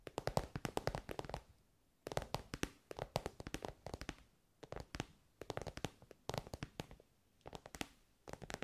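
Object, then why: Soft fabric-covered pencil case. Long nails tap rapidly on an elongated soft pencil case covered in glossy, shiny pink synthetic fabric. Quick, dry, muffled taps come in bursts separated by short pauses, each tap dying away almost at once.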